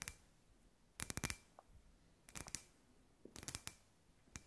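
Long white nails tap a hand-sized, hollow, clear glass ball lamp with fairy lights inside. Quick clusters of bright, sharp clicks come in short bursts with almost no ring, separated by quiet pauses.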